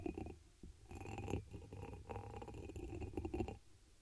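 Long pink acrylic nails tap and scratch the patterned surface of a hollow, empty dark amber embossed glass chalice turned upside down over the microphone. The taps and scrapes sound dull and muffled, heavy in the low end, with a faint glassy ring over them. They come in close bursts that swell and fade over about four seconds.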